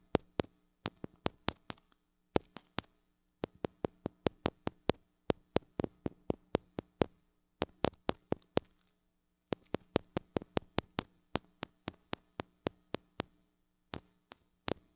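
Long acrylic nails tap and scratch on the metal mesh grille of a small gold-colored mini microphone with a metal body and hollow head, held in one hand. Around fifty sharp, dry clicks come in quick bursts separated by short pauses, each dying away almost instantly. A faint, steady low hum runs underneath throughout.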